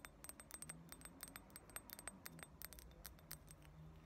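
Long nails rapidly tap and scratch the rim and walls of a round, heavy, thick-walled clear glass ashtray, solid and empty. The result is a quiet stream of sharp, bright clicks with a faint high glassy ping that dies away almost at once, over a soft low background hum.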